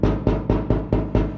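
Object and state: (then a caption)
Tinny, unbacked car side panel. A side panel of a Cobra Daytona build car with no carbon fiber backing is knocked six times in a steady rhythm. Each knock gives a hollow, low thump with a short ring. Unlike the backed side, this panel sounds tinny rather than solid.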